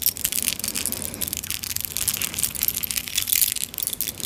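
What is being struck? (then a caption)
Charm bracelet of metal chain with small clay and metal charms. A clay and metal charm bracelet, a short metal chain with small clay teapot and kettle charms and a tiny metal spoon, is held taut between both hands, then shaken and touched with long nails. The charms give a steady run of bright, crisp jingles and clicks with very short ring.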